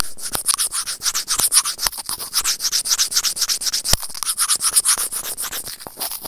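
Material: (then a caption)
Plastic. Serrated plastic tweezers scrape across a small, hollow white plastic earphone inline microphone remote. The result is a fast, uneven run of short, dry scratching strokes with a bright, hissy edge, broken by occasional sharper clicks.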